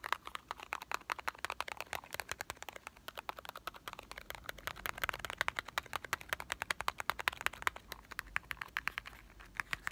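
A small printed cardboard box of Marble chocolates, hollow and likely holding candy, is held in both hands and tapped with short fingertips and nails. The result is a rapid, steady stream of crisp, dry clicks with a bright papery tone and no ring, rising and falling slightly in loudness throughout.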